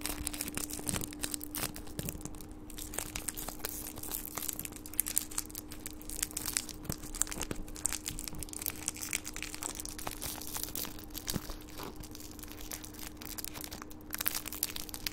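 A small, crumpled gold metallic foil wrapper is held between the fingertips of both hands and crinkled, twisted and rubbed. It makes a dense, continuous stream of sharp, bright crackles and crinkles over a faint steady low hum.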